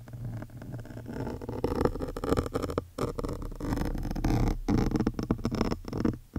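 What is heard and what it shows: A metal awl needle with a yellow wooden handle, held in long-nailed fingers, is scratched over a large, soft, porous black foam windscreen on a studio microphone. The result is a dense, close, rumbling scratch with heavy low end, broken by a few brief silent gaps as the strokes change.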